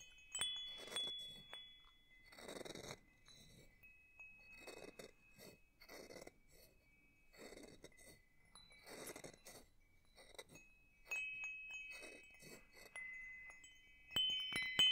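A small hanging wind chime with hollow metal tubes and a wooden top bar is held above the microphone while its tubes are tapped gently with the wooden striker. Bright, high clinks and sustained ringing tones sound at an irregular pace, alongside soft rustling bursts between the taps.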